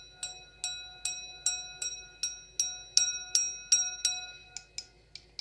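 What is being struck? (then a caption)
Glass stemmed wine glass. An empty, clear stemmed wine glass with a thin, hollow bowl is tapped with long acrylic nails. About 15 quick, bright taps ring with high, glassy overtones. The last several taps are softer and shorter.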